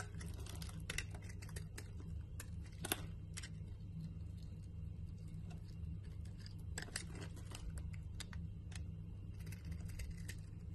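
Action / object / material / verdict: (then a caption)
scrape / bar of soap scraped with a knife blade / soap / none. A utility knife blade shaves and scrapes powdery flakes off the edge of a solid cream-white Dalan bar soap held in the hand. Soft, crisp scraping is heard with short, bright ticks as the blade bites into the soap, over a steady low hum.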